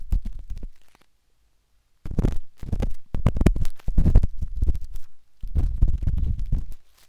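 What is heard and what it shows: A metal-tipped dot stick with a wooden handle scratches inside the soft, hollow canal of a pinkish-white silicone binaural microphone ear. Muffled, low, rumbling scrapes come in dense bursts, pause in near silence for about a second, then resume in several longer clusters before fading out.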